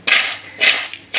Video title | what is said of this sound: कुरकुरीत कांदा भजी पाणी न वापरता न सोडा / Kanda bhaji recipe | कसे कुरकुरीत झालेले आहेत, किती आवाज येतोय बघा